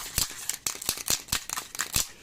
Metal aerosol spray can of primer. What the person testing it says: As you can see it here, there's nothing. There's no sound making.